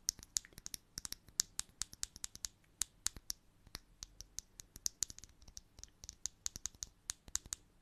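A small hollow blue plastic bottle cap with a ridged edge, held up close, is tapped and scratched with long nails. About 41 quick, bright, dry clicks and scratches come in an uneven, steady run, with almost no low end and no ring after each hit.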